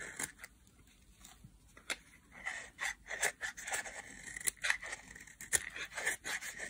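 A solid yellow dry bar soap with a dotted pattern, held in hand, is carved into thin strands with a metal blade. It makes a series of short, crisp scraping and cutting strokes with bright, hissy highs and almost no low end.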